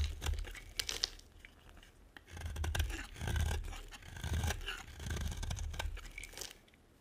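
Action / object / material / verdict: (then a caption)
scrape / bar of soap scraped with a metal blade / soap / none. A metal blade scrapes and carves shavings off a solid, dry green bar of soap. Several long, crunchy scraping strokes swell and fade over a low rumble, with brief bright crackles and ticks between them.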